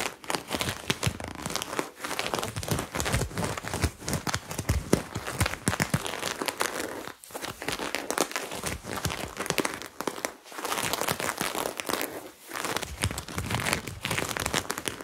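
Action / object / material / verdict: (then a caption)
scrape / cotton top with sequin patch / sequins, cotton / none. Fingernails repeatedly scratch and rub the sequin lettering patch on a white cotton crop top worn on the body. The result is a dense, crinkly scratching and rustling with bright, crackly texture, broken by brief pauses.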